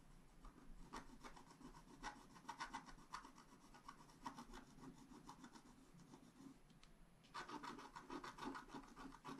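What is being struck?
Scratch art paper card scraped with a wooden stylus.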